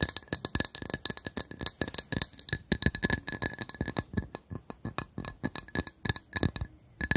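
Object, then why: Glass coaster. A glass coaster is tapped in quick, irregular succession for about seven seconds. Each short, bright clink dies almost at once and has a faint low knock beneath it, while steady high ringing tones sit above a mid-range tone near 1.6 kHz.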